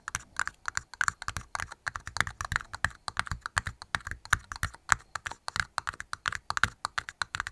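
Two small, hollow, empty red plastic party cups, held upside down in both hands, are tapped quickly with long nails and fingertips. The result is a fast, uneven stream of dry clicks and light knocks with a mid-range hollow tone around 1.4 kHz. Each tap dies away almost instantly.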